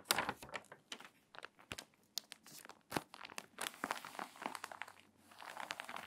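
A page of a crinkly, water-damaged paper magazine is turned, then long nails rub and scratch across its wavy pages. Dense bursts of dry crinkling and crackling rustle come in quick, uneven clusters, bright and papery with almost no low end. Each sound stops short, with no ring.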